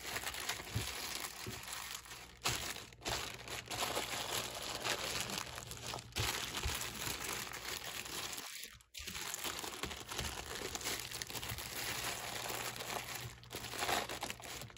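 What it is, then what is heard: Plastic-wrapped stack of plastic cups. A hand grips, squeezes and rubs a stack of clear plastic cups inside a thin plastic film sleeve, producing steady, bright crinkling and crackling for the whole clip. The sound pauses briefly just before the ninth second, then resumes.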